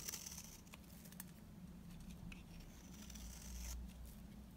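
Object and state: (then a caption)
Dry bar soap shaved with a blade. A utility knife blade scrapes and shaves a beige, oval, solid, dry bar of soap, producing dry, bright scratching and crumbly rasps. Several sharp broadband strokes stand out near the start, over a steady low hum, and a longer scraping pass swells near the end.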